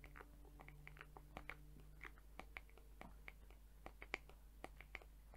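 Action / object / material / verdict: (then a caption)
tap / plastic hair brush tapped and scratched with fingernails / plastic / none. Long nails tap and scratch the plastic rim and back of a hollow, round-backed teal plastic hair brush with colorful, flexible rainbow plastic bristles, held close. Quiet, sharp clicks with a bright ping near 2.2 kHz stop almost instantly, scattered through soft scratchy rustling over a steady low hum.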